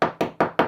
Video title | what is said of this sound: Step-by-step - Bonding and Laminating Plywood into GRP Boats - Easy and Essential -Fibreglassing 101 | if I have a tap around with my handy screwdriver you can hear this solid